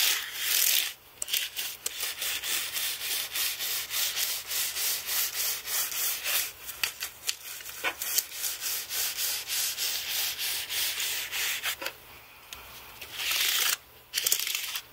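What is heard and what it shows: A black carbon brush is swept back and forth over the plastic keys of a white aluminium-framed computer keyboard. This gives a continuous, bright, dry rubbing, scratchy like sanding. Short bristle strokes repeat in quick succession, with a few brief pauses near the end.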